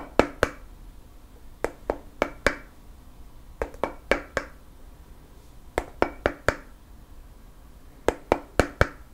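Fingernails tap and scratch a round, flat bamboo/wood lid on a black candle jar, making sharp, dry clicks with a short ring. The taps come in quick clusters of two to five, 18 in all, with short pauses between groups.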